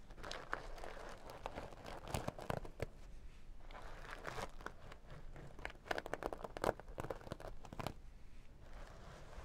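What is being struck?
Sequin-covered fabric pouch.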